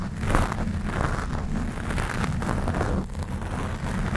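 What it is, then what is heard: Foam microphone windscreen being scratched. Long black and glitter acrylic nails scratch a black foam windscreen on a Blue Yeti microphone from both sides. The scratching makes a continuous, dense low rumble with soft rustling bursts layered over it, and it stays at a steady level throughout.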